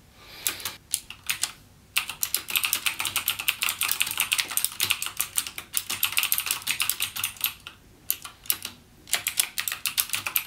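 Fingertips type continuously on a backlit mechanical gaming keyboard with plastic keycaps and clicky Cherry MX Blue switches. The result is a rapid stream of sharp, bright clicks with almost no low end and very short decay. Typing pauses briefly near two seconds and again around eight to nine seconds.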